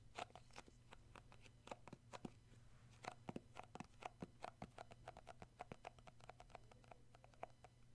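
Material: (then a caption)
Plastic. A round plastic tub of shea butter with a black lid and a yellow-rimmed label is held in both hands while short fingernails and fingertips tap and grip the lid. A rapid, uneven series of dry, clicky taps with a hollow tone around 730 Hz and very short decay plays over a steady low hum, with soft rubbing between the taps.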